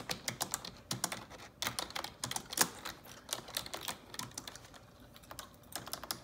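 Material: Plastic.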